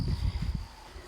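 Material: Nothing is struck.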